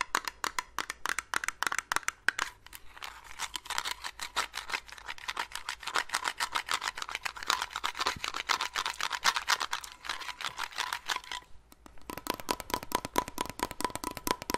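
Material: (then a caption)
Metal. Long acrylic nails tap and scratch rapidly on the lid of a small blue metal Nivea cream tin held up close, making dense, bright clicks with a faint metallic ring. The taps continue almost without pause, thin out briefly just before 12 seconds, then resume in a steady rhythm.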